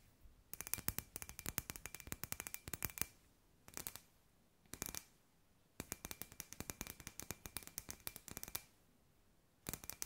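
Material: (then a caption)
Glass. A palm-sized, hollow, clear glass sphere with fairy lights inside is held in both hands and tapped and scratched with long white nails. Quick runs of sharp, bright clicking taps come in bursts, with a faint steady ring near 2.5 kHz under each run. Short quiet pauses fall between the runs, and the sound is soft overall.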